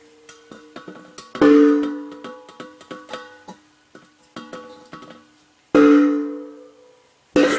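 An empty 30 lb steel R22 refrigerant cylinder is tapped over and over, a run of light taps followed by a few hard strikes. It rings like a bell with a clear tone around 290 Hz, and the hard strikes sustain and decay slowly over more than a second. This ring is the sign that the jug is empty, since a full one gives almost no ring.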